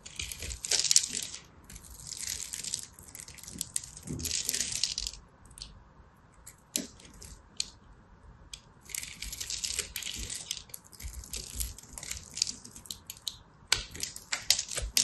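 A small black blade scratches and chips a hand-held white solid soap bar with a grid-scored surface, breaking off dry crumbs. Bright, crisp scraping and crackling comes in several bursts separated by brief quiet pauses, dotted with sharp little ticks as the crumbs snap away.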